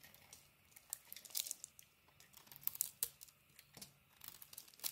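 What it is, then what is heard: Bar of soap being carved. A utility knife blade scrapes and carves the surface of a handheld solid green Speick bar of soap with a cream interior. Quiet, dry crackling and crisp shaving scrapes come in irregular short bursts, almost entirely bright and high with no low end. Some strokes swell into louder crunchy rasps before fading back to near silence.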